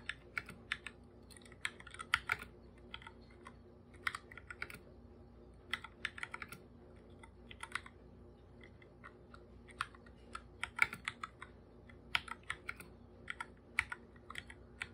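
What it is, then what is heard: Plastic computer keyboard. Bare fingertips type on a full-size black computer keyboard with plastic keycaps, its hollow body giving each key a light, clicky tap. Quick, bright, dry taps come in an uneven run over a faint steady hum, with short bursts of faster typing.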